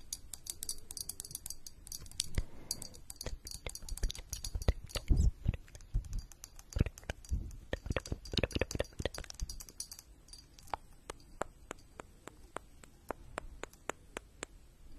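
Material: Glass.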